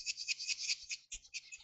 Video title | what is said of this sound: Have a “ Broken Wing Chun” ? Fix it with Red boat training hammer or Red boat training reels | when I shake it, it is not solid there